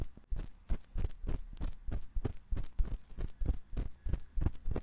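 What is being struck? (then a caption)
Silicone microphone ear scraped with a thin metal pick. A thin metal ear pick scratches inside the ear canal of a white silicone ear on a 3Dio binaural microphone, which is held in the other hand. Close, deep rubbing and scraping bursts repeat at an irregular pace, dominated by low rumble with faint bright crackle on top.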